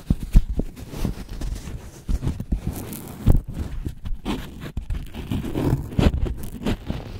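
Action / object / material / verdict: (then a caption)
scrape / dry corn husk wrapped around an ear of corn / plant fibre / none. A whole ear of corn, still wrapped in thin, dry, pale green husk leaves around a solid cob, is held in both hands and rubbed and squeezed with the fingertips and thumbs. The result is a steady stream of close, soft crinkling and rustling with many quick crackly bursts, mostly low and muffled, with brief bright streaks on the sharper rubs.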